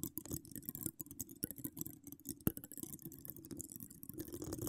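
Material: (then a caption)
Metal mesh. Long acrylic nails decorated with donut charms, all ten at once, scratch across a hollow metal wire-mesh microphone grille. Quick, dense scrapes and taps blend into a continuous rustling texture with a low, hollow rumble and bright hiss. One sharper click stands out about halfway through.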